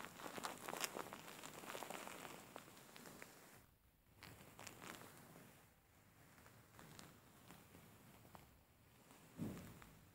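Fingers grab and scratch the corner of a large, soft-filled grey faux fur pillow, making dense scratchy rustling with bright crackles. The sound is busiest and loudest in the first few seconds, then settles into quieter, uneven scratching, with a brief muffled bump near the end.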